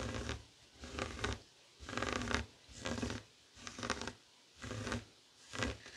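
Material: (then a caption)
Woven fabric. Fingertips and short nails scratch a flat, heart-shaped woven tapestry fabric coaster resting on a wooden table. Seven separate bursts of dry, rough scratching rise and fade in a loose rhythm, with a soft low rumble under a bright, raspy texture. Brief near-silent gaps separate the bursts.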